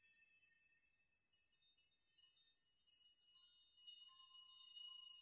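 Fingers brush through a hanging metal nail chime, and the nails clink together in quiet, bright, overlapping tinkles. The ringing is entirely high-pitched with no low end, and each clink fades quickly as the nails keep jostling irregularly.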